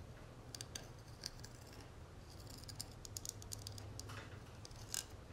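Fingernails tap and scratch the dotted, textured inner surface of an open, hollow gold metal cigarette case. Quiet, bright, dry clicks and scraping ticks come in irregular clusters over a steady low hum, each click dying away almost at once.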